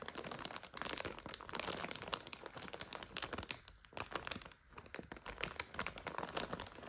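Hands press a full plastic bag of dry egg noodles while long nails tap it, making it crinkle. Dense, bright crackling and sharp, dry taps run through the whole clip, with brief quieter moments near 3.8 and 4.6 seconds.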